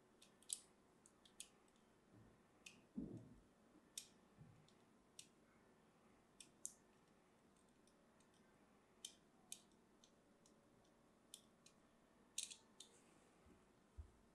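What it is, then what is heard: Hard dry bar soap being cut. A small blade scratches and cuts shallow lines into a small, solid purple bar of dry, hard soap held in the hand, its surface carved in a criss-cross grid. Seventeen crisp, bright clicks and scrapes sound with very short decay over a faint steady hiss, including one duller, fuller scrape near the start.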